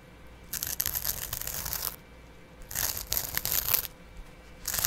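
A small double-edge razor blade held in the fingers repeatedly scratches and scrapes the green abrasive side of a dry kitchen sponge, a green scouring pad on yellow foam, held close to the microphone. Three bursts of bright, raspy scraping come in quick rough strokes, separated by brief quiet pauses.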